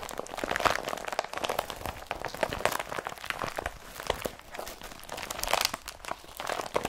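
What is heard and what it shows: An empty blue IKEA BRATTBY carrier bag made of woven polypropylene is held up in both hands and scrunched with the fingers. It gives a dense, continuous run of dry crinkling and crunching with many short, sharp bursts. The sound is centred in the mids with bright highs, very little low end, and swells louder at moments.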